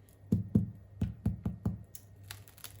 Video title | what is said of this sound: 🥖 RÉDUIRE son BUDGET avec du fait MAISON 🥖 BAGUETTES // COOKEO // PANCAKES 🥞 | ça sonne bien creux et le petit côté croquant de la baguette